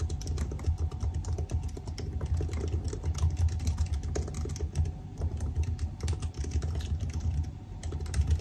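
Fingertips of both hands type continuously on the black plastic keys of a silver aluminium laptop keyboard. A rapid, steady patter of short, dull key clicks dies away almost instantly, over a heavy, low, rumbling undertone.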